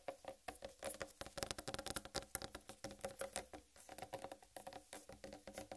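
Long red nails rapidly tap and scratch the solid rind of a large, whole uncut watermelon. The result is a dense run of short, dry taps with a hollow mid-range tone near 500 Hz that dies away almost instantly, mixed with bright, scratchy rasping.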